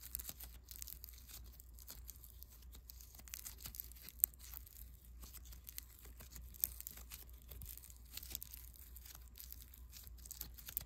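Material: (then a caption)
Foam beads. A small lump of soft, solid white foam bead clay is kneaded and rubbed between fingertips. It makes a quiet, steady stream of fine crackling, crinkly ticks and soft pops with bright edges, plus a few sharper snaps. A constant low hum runs underneath throughout.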